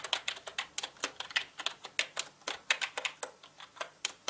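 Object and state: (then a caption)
Plastic mechanical keyboard. Fast fingertip typing on a full-size black plastic mechanical gaming keyboard with plastic keycaps and a hollow body. About twenty-three crisp, bright, clacky keystrokes come in a quick, uneven rhythm, each dying away almost at once with no low-end thump.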